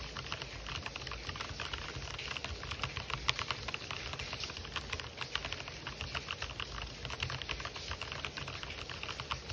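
Fingertips type rapidly on an RGB-backlit plastic mechanical keyboard with white and black plastic keycaps. A quick, steady stream of short, bright clicks and clacks runs throughout over a low, soft background rumble.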